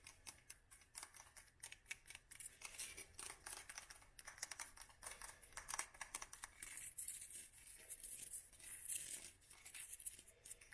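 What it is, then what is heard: Glass candle jar. Long nails tap the sides of a palm-sized, green textured glass candle jar filled with wax, with the candle lit. The result is a quick, uneven run of light, bright clicks and taps, each one dying away fast, with a crisp, hissy high sheen over it all.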